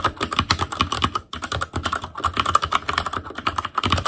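Fingertips of both hands type rapidly on a full-size ASUS ROG Claymore Core keyboard with plastic keycaps on Cherry MX Red switches over a metal plate, with a hollow case and RGB backlight. A dense, steady stream of short, clicky-clacky key taps carries a hollow ring around 1.2 kHz, each tap dying away almost instantly, with a brief pause just past the first second.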